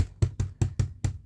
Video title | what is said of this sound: 30 Pack Space Saver Bags (6 Jumbo/6 Large/6 Medium/6 Small/6 Roll) Compression Storage Bags | it sounds like Hollow plastic